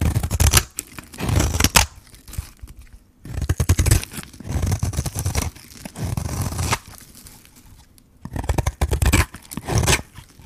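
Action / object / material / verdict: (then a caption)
scrape / bar of dry soap scraped with a metal blade / soap / none. A metal blade scrapes shavings off a solid white bar of dry soap with a pink rim, held in the hand. Bursts of rough, crunchy scraping rise and fall with short pauses between them. The sound is mostly low and dense, with a bright, gritty edge on the sharper strokes.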